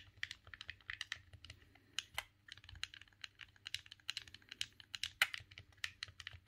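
Thumbs rapidly press the face buttons and stick of a silver, hollow plastic GameCube controller. The result is a quick, uneven run of sharp, dry plastic clicks and taps that are bright and centered around 2 kHz, each dying away almost instantly. They sound over a quiet, low background.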